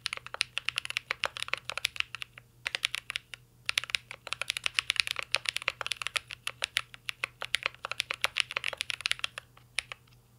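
Fingertips type steadily on a mint-green Cyberboard R3 mechanical keyboard with a metal case and plastic keycaps. Dozens of crisp, bright plastic clicks come in quick bursts, with short pauses around the two- and three-second marks. Each keystroke is sharp and dies away almost instantly.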